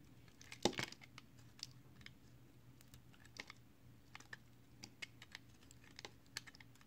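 A utility knife blade carves and scrapes a small, solid piece of multicolored recycled soap held in the fingers. It makes crisp, dry, bright clicks and short scraping ticks, loudest in a brief cluster near the start, then spread out as sparse sharp snicks over a faint low steady hum.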